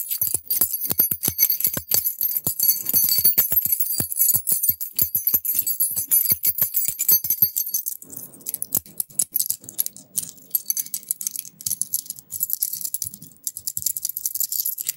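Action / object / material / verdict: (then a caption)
shake / bunch of metal keys on a ring / brass and steel / none. A small bunch of brass and steel house keys on a metal ring is held in the fingers and shaken, giving rapid, bright metallic jingling for about eight seconds. The jingling then becomes sparser and softer, with scattered light clinks through the end.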